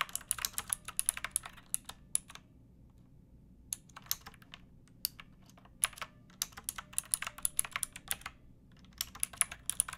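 Long painted nails and fingertips type on a pink backlit typewriter-style mechanical keyboard with round plastic keycaps and a hollow plastic case. Quick bursts of bright, clacky keystrokes with very short decay come in irregular runs, broken by brief pauses, over a faint low hum.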